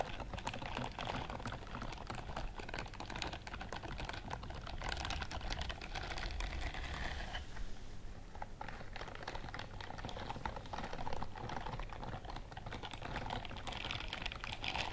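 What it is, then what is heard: Silicone scrubbing glove. Long nails scratch and brush over the bristles of a pale pink silicone scrubbing glove held close to the microphone. The result is a dense, steady stream of quick, dry clicking and crackling, with bright ticks over a low, constant hum. The texture thins briefly around the middle before picking up again.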